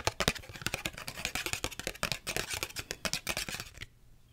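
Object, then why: Small cardboard card box. A small red cardboard UNO card box, held in both hands, is tapped and scratched with long red acrylic nails. A fast, uneven run of crisp, bright clicks and scraping taps continues for nearly four seconds, then stops abruptly into near silence.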